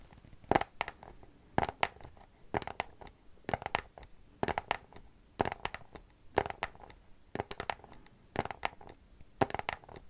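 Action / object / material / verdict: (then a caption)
tap / small cardboard box / cardboard / none. Long nails tap a small white cardboard product box held upright. Ten short bursts of quick, dry clicking taps come roughly once a second, each a hollow, papery knock centered around 800 Hz with a bright edge. The taps stop almost instantly with no ring, leaving quiet gaps between the bursts.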